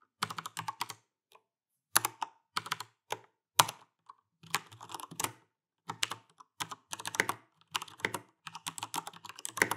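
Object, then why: Mechanical keyboard with plastic keycaps. An Alienware AW410K RGB mechanical keyboard with plastic keycaps and Cherry MX Brown switches is typed on quickly with the fingertips of both hands. Bursts of rapid, bright plastic clacks arrive in quick runs separated by short pauses, each keystroke dying away almost instantly.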